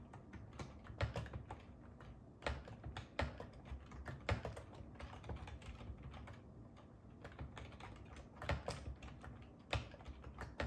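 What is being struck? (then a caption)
Plastic computer keyboard. Fingertips type continuously on the hollow keys of a black and silver ergonomic plastic computer keyboard resting on a wooden table. The result is a steady run of quick, dry taps with a soft, low thump under each one, with a few sharper, louder strokes standing out among them.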